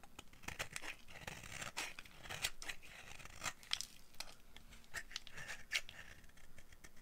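A dry, solid oval pink bar of soap held in the hand is shaved with a yellow-handled utility knife blade. Quick, crisp scraping strokes repeat irregularly, each a short bright crackle that stops almost at once over a low, quiet background.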